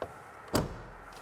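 The door of a 1990 Mercedes 190 EVO2, made of steel sheet metal with carpet and wood trim, is shut: a faint click comes first, then a single deep, solid thud that dies away quickly with little ring. It gives the solid, heavy closing sound that today's cars lack, their doors seeming like cardboard or paper by comparison.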